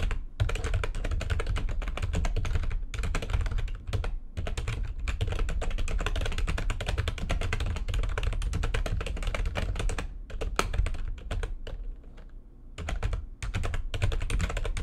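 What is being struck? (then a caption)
Plastic computer keyboard. Both hands type quickly with long nails on a backlit plastic computer keyboard, making a dense, rapid stream of sharp clicks and taps over a strong low thumping body. The typing runs almost without a break, with a short gap near four seconds and a softer, lighter patch between about ten and thirteen seconds before full-speed typing resumes.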